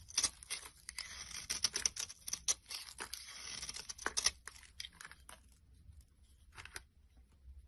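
A solid rectangular brown bar soap held in hand is shaved with a metal blade into flaky shavings. The result is a quick series of crisp, bright scraping and crinkling strokes with almost no low end, tapering to quieter, sparser scrapes toward the end.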